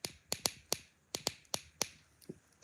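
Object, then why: Metal hand gripper. A metal hand gripper made for kids is tapped nine times in an irregular rhythm. Each tap gives a sharp, bright, high-pitched click with a faint tone around 600 Hz that dies away almost at once.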